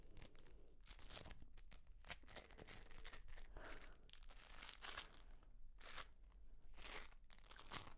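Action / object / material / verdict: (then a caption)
scrape / dried reindeer moss clump / lichen / none. A hand-sized clump of pale green dried reindeer moss, airy and brittle, is held in both hands and squeezed and rubbed with long nails and fingertips. It gives dense, dry crunching and crackling in quick bright bursts over a steady low rumble.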